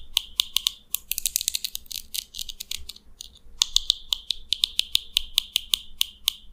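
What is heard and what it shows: A fingernail strums the teeth of a small purple plastic comb held in the fingers, producing rapid, crisp clicks. The clicks come in an evenly spaced run, then a faster, denser flurry, a brief lull, and another steady run. Each click is bright and sharp, centered around 3.6 kHz, and cuts off instantly with almost no low end.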